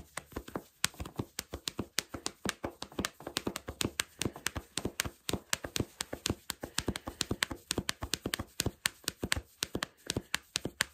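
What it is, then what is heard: Fleece sweatpants fabric. Fingertips and short nails scratch and pinch black cotton fleece sweatpants worn on the body, near the waistband and drawstring area. The result is a rapid, steady run of short, dry, bright scratching taps with almost no ring, continuing for the whole clip.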